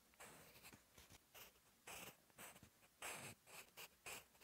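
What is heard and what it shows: A sharpened wooden graphite pencil, held in the fingertips, writes Korean text on a lined paper sheet in a notebook. Its tip scratches across the paper surface in about ten quiet, irregular bursts of bright, hissing strokes, with short pauses between them.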